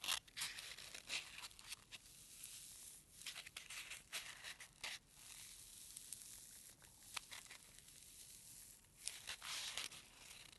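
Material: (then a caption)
Polystyrene foam. A single small, white, solid foam packing peanut is pinched and squeezed between a thumb and fingertips with short nails. It gives off quiet, bright, squeaky crinkling and tearing-like scratches in short bursts, with almost no low end.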